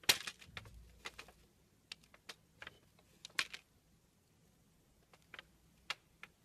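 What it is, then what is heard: Soap bar carved with a blade. A small steel blade carves curls off a long, solid red bar of soap that is white inside. Short, crisp, bright scraping clicks come in irregular bursts, each dying away almost instantly, over a quiet background with almost no low end.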